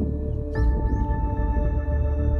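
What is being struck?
Nothing is struck.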